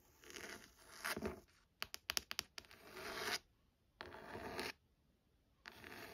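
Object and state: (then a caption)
Leather-bound hardcover book. Long nails tap and scratch across the embossed cover of a burgundy, textured leather-bound hardcover book. Dry, bright scratching strokes alternate with a quick cluster of sharp, short taps, followed by more scratching in separate bursts with brief silences between.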